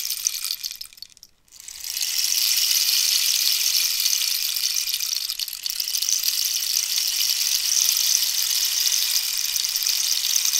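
A hollow cactus-wood rainstick is held diagonally while long nails scratch and rub its textured wood. A bright, hissing rasp fades to near silence around the one-second mark, then swells back and continues as a steady, high-pitched scratching texture with no low end.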